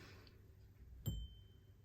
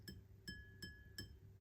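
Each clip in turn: First: lead crystal glass, clear ringing tone. Second: ordinary drinking glass, dull tap (not lead crystal).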